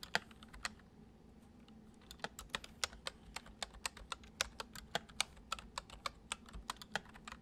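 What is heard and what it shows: Fingertips tap the keys of a full-size white plastic computer keyboard resting on a wooden desk. A few quick taps are followed by a short pause, then a steady run of typing, for 28 crisp, bright, short clicks in all over a low, faint hum.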